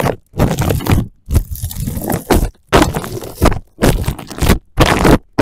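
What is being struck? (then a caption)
Plastic cling film. Fingertips and nails scratch and rub loose, crinkled clear plastic cling film wrapped over a microphone resting on a wooden floor. The result is bursts of close, crackling, scraping rustle, heavy with low rumbling thuds, separated by short silent pauses.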